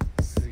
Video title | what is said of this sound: 理想の釣り車を求めてエブリィの天井を断熱する（デットニング） | 全然違うでしょこれで雨音もだいぶシャットアウトされるでしょう